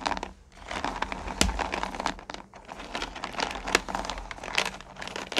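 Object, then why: Small candy pieces in a plastic pail. Long-nailed hands dig into and spread their fingers through small, solid pumpkin candy corn in a purple plastic pail. The result is a steady, crinkly rustle of many small pieces shifting and clicking against each other and the plastic, bright and crackly, with a few sharper clacks standing out.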